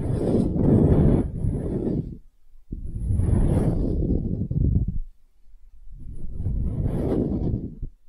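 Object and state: Wooden half sphere.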